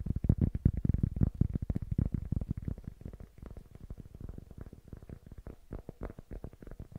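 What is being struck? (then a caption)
Small cork block. A small, solid-looking rectangular cork block is held in both hands close to the microphone and tapped quickly with fingertips and nails on its surface. The result is a dense, irregular stream of dull, low, muffled knocks with almost no ring or brightness. The taps are louder in the first half and grow softer and lighter toward the end.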